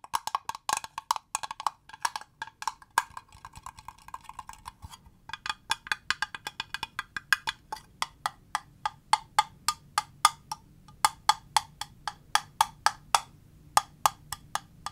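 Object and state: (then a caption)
Acrylic plastic box tapped with fingernails. A small hollow cube box of clear green acrylic, held in the hands, is tapped with long fingernails in a steady run of 57 sharp, clicky taps. Each tap is bright with a hollow plastic tone around 1.2 kHz and dies away almost instantly, with brief pauses near the 5- and 11-second marks.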